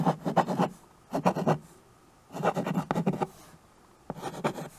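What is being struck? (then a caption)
Chalk on a small wood-framed chalkboard. White chalk held in the fingers scratches writing strokes across the surface of a small handheld chalkboard with a wooden frame. The strokes come in four short bursts of dry, gritty scraping, separated by quiet pauses.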